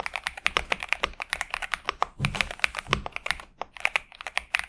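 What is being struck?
Mechanical keyboard with plastic keycaps.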